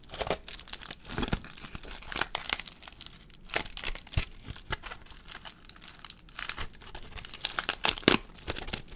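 A crumpled aluminium foil ball is squeezed and crinkled with fingers. Dense, bright crackling and sharp crinkles run throughout, rising in louder bursts between quieter rustling stretches.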